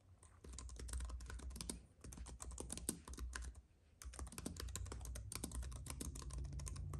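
Both hands type quickly with the fingertips on a slim white keyboard with plastic keys on a silver aluminum base, while a paintbrush lies unused nearby. Dense, short, crisp key clicks come in steady bursts over a low hum, with brief pauses near 2 and 3.5 seconds before the typing resumes.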